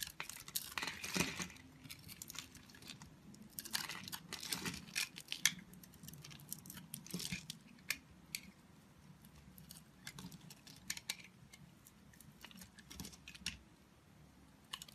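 A utility knife blade scrapes and shaves along the surface of a solid, oval, multicolored bar of soap held in the hand. Quiet, bright, crisp scraping strokes and short crackling flicks repeat irregularly over a soft low background, with the denser shaving passes coming early on.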